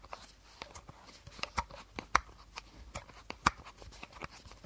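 Fingernails tap the body of an empty, hollow clear plastic bottle held horizontally. About 13 quick, dry clicks come at an uneven pace, each with a hollow plastic tone around 1 kHz and very little ring. Three taps stand out louder than the rest.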